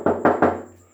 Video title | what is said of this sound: vintage pedal car | you know that one's a lot thicker steel than the than the fire truck